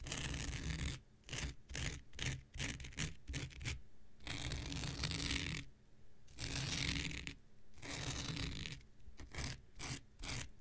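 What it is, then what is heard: Synthetic fiber scouring pad. An X-Acto knife blade is scratched across a thin, hand-sized blue non-woven synthetic fiber scouring pad held in the hand. Bursts of bright, raspy scratching come as quick, choppy strokes at first, then longer sustained scrapes, with short silences between and a low rumble underneath.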